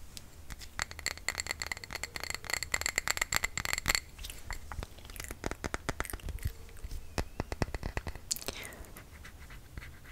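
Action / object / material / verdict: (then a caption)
scrape / small glass jar filled with candle wax / glass / none. A small glass jar filled with cream-colored candle wax is held in the hands and tapped and scratched with fingernails on its glass sides. Rapid, dry clicking taps come with a faint glassy ring near 2 kHz and bright overtones, strongest in the first four seconds. Short scratchy scrapes run between the taps.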